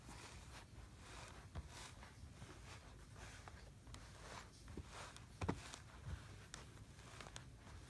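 A flattened layer of kinetic sand in a blue plastic tray is rubbed and patted with the fingertips of a flat hand. Soft, grainy brushing strokes sweep through the quiet, broken by a few sharper, dull pats over a steady low background rumble.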